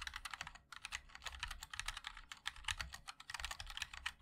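Continuous two-handed fingertip typing on a 60% mechanical keyboard with linear switches, white and black GMK ABS keycaps, and a black 5-degree aluminum case resting on a wooden wrist rest. Quick, bright clacks follow one another in a steady, uneven stream with very short decay and a faint low thud beneath each keystroke.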